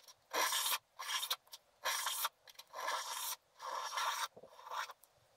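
A wooden stylus scrapes the black wax coating off a flat sheet of scratch art paper, lifting curls of wax. Six dry, raspy scratching strokes sit in the mid and high range, with short ticks and pauses between them.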